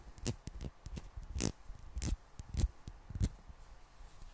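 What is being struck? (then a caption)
Small glass bottle with metal screw cap, partly filled with water. Long black-painted nails tap and scratch a small, hollow, clear glass bottle with a gold screw cap, partly filled with water. The result is an irregular series of quiet, sharp clicks with bright high ticks over a soft low thump, each dying away almost at once, along with faint scratchy friction between the taps.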